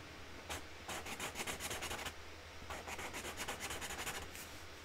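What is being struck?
Felt-tip marker on cardboard lid.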